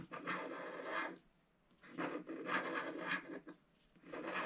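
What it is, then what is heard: Scratch-art paper being scratched. A wooden stylus scratches the lower petals of a design on a black coated scratch-art card in a book. Dry, raspy scratching strokes come in bursts, each a second or so long, with short quiet pauses between them. The sound is a broad midrange grainy rub with some brightness on top and almost no low end.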